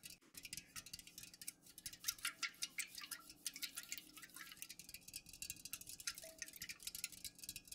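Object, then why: Aluminum soda can tapped with fingernails. Long nails fast-tap the sides of an unopened, full Pepsi aluminum soda can standing upright. The result is a quiet, rapid, irregular stream of bright, crisp clicks with almost no ring, over a faint steady low hum.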